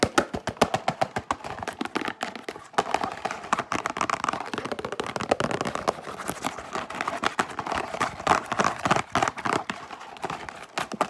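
Fingertips and long nails tap and scratch quickly and aggressively on the front panel of a yellow printed cardboard Wheat Thins box, held upright, hollow and apparently filled with crackers. A dense stream of dry, sharp clicks and taps overlaps with papery scratching, mostly in the midrange with little low end. The hits decay almost instantly.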